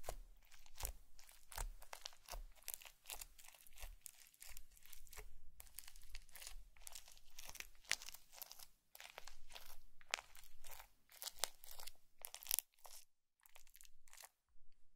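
A green plastic comb is repeatedly pressed and scratched through blue foam bead slime on a white plate, leaving a textured pattern in its surface. Rapid, dense bursts of bright crunching and crackling follow one another with almost no ring, thinning into short quiet gaps near the end.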